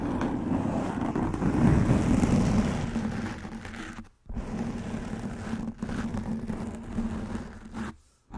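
Long nails scratch across a soft black foam windscreen covering a microphone head, producing a dense, muffled scraping rustle with a steady low hum underneath. The scratching swells in the first few seconds, fades, cuts out briefly near the middle, resumes steadily, and drops away again just before the end.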